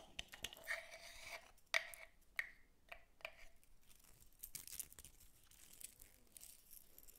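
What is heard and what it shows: A light, hand-sized wooden cylinder with visible grain, which appears solid and is held in one hand, is tapped and scratched with long pointed metal claw nails. Sharp, bright clicks with a short ring near 2 kHz stand out early on. They give way to a softer, continuous high scratching and scraping at a low overall level.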